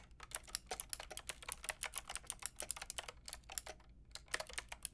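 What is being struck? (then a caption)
Plastic mechanical keyboard keys. A white and pink Lofree mechanical keyboard with round plastic keycaps is typed on with long painted nails and fingertips. A quick, uneven run of sharp, bright plastic clicks and taps fades almost instantly, with a brief pause near the end. A faint steady low hum sits underneath.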